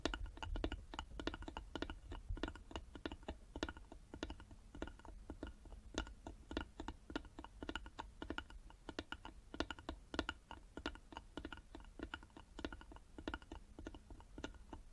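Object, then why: Small carved wooden box. Long nails tap rapidly on the sides of a small, hollow, carved wooden box held in both hands. The quick, irregular clicks are short and dry, with a hollow low-mid body. They continue steadily for the whole clip over a low background rumble.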